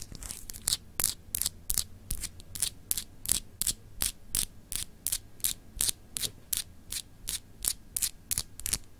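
Long acrylic nails scratch a small, solid, clear etched glass globe paperweight in quick, steady strokes. About thirty short, bright, raspy scrapes repeat at a brisk pace with no ringing after each one, over a faint low hum.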